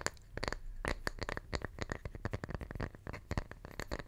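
A small, round, solid wooden tree slice, held close to the microphone, is tapped and scratched with the fingertips. The result is a quick, irregular run of dry, short clicks and taps over a soft, low, woody thump. Light scratchy, crackling textures fill the gaps, with a faint tone around 1.75 kHz.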